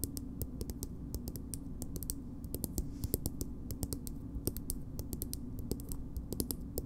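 A small, soft plastic BB cream cosmetic tube is held upright and tapped and scratched with long nails. A steady run of quick, dry, bright clicks and light scratches sits over a low, constant hum, each tap dying away almost instantly.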